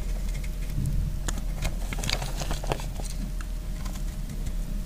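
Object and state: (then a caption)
Dry soap bar. A hand-sized block of dry, speckled green soap, held in one hand, is cut and scraped with a metal utility knife blade. It gives off short, crisp crackles and crumbling ticks as flakes fall onto a pile of soap shavings, over a steady low hum.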